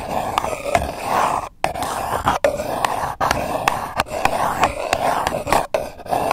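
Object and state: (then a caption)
Paper cup. Long acrylic nails scratch a single empty purple paper cup, hollow and thin-walled, as it rests on the microphone. A steady dry rasp with a hollow midrange tone carries through, broken by brief silent gaps and sharp bright ticks.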